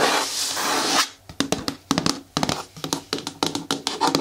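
Long nails scratch and rub along the side of a hollow, green hard plastic bin with a lid and handle, making a bright, hissing rasp for about the first second. After a short pause come quick, dry nail taps on the plastic, each with a short hollow knock around 270 Hz that dies away almost at once.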